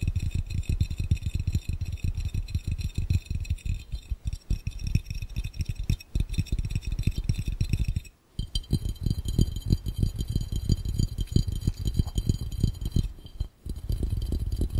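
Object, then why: Empty glass fishbowl. Fingertips on both hands tap rapidly on a clear, round, hollow, empty glass fishbowl, making a dense stream of soft, low thumps with faint high glassy ringing above them. The tapping runs continuously, pausing briefly around 8 seconds and again near 13.5 seconds.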